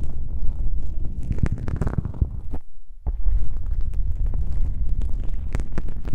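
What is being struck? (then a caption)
Foam microphone windscreen. Fingertips press and rub on two small black foam windscreen covers on a binaural microphone, then long nails scratch across them. The result is a close, muffled stream of deep rumbling thumps and scrapes, with a brief quieter dip near the middle.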